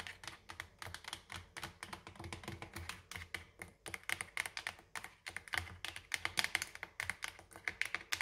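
Long orange nails rapidly tap the front label of a clear plastic dish soap bottle with a pink cap, mostly full of white liquid and held in one hand. The result is a fast, uneven stream of crisp, bright clicks that die out almost instantly, with little low-end body.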